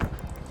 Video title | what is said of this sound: Endless Nightmare Wrecks - Highway Thru Hell | We could sort of tell where the load is by banging on the trailer.